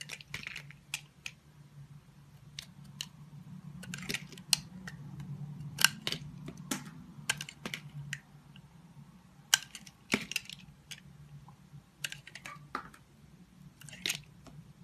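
A red box cutter shaves curls off a solid green bar of soap held in a hand with long white nails. Short, sharp, bright scraping and cutting strokes come at an irregular pace over a steady low hum. Each stroke ends almost at once.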